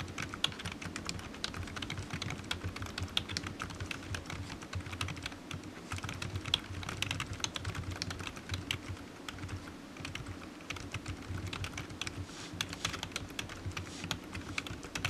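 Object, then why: Plastic computer keyboard. Fingertips type steadily on a low-profile black plastic computer keyboard resting on a desk mat, its hollow keys giving off rapid, bright, dry taps. The keystrokes come in a continuous, even stream with short irregular pauses, over a low, steady rumble underneath.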